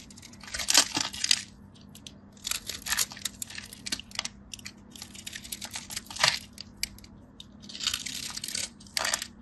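A solid, dry, hand-sized white bar soap held in the fingers is scored and carved into a crosshatch grid with a small metal craft blade, chipping off small flakes. Bursts of crisp, bright scraping and scratching come in clusters, separated by quiet pauses.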